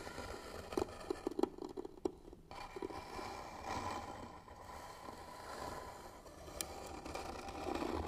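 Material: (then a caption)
Wood. Short fingernails on both hands scratch the lid of a hollow white wooden box with bead trim and brass hinges. The result is a dry, uneven scraping with a few sharper ticks early on, then a steadier rasping texture.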